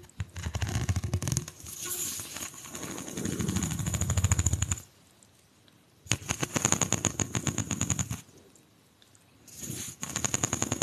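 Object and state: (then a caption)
Plastic pop tube. A single hollow pink corrugated plastic pop tube, held in both hands, has long nails run quickly along its ridges, giving rapid ratcheting clicks. The clicking comes in three bursts separated by short silences, with a low rumble under a steady bright, high edge.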